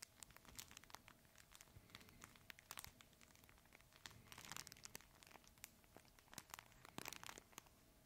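A red fabric plush crinkle toy is held horizontally in both hands while fingertips squeeze and scratch it. The result is a dense stream of sharp, bright crinkles and crackles with brief louder bursts over a soft rustling bed.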